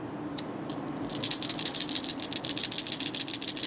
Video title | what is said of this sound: Storm Thunder Barra Review | two types of rattles in here one's going to be a um quite a a series of smaller balls